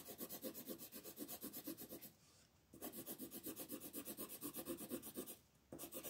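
A dark blue wooden colored pencil shades a flat paper coloring page resting on a table with quick back-and-forth strokes. The result is a steady, scratchy rubbing rasp in a fast, uneven rhythm. It stops briefly twice, around two seconds in and again near the end, before the shading resumes.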